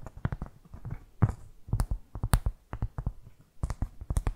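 Long fake nails scratch and tap across a solid, round, flat cork board trivet held close to the mic. The result is a rapid series of short, dry, scratchy taps, mostly low and thumping with brief bright scrapes, and almost no ring after each stroke.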